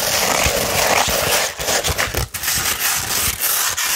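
Long red nails scratch a sheet of 240 grit sandpaper curved into a tube, making a continuous dry, gritty rasp that is bright and hissy with little low end. The scratching runs steadily with short irregular strokes and a few brief dips in loudness.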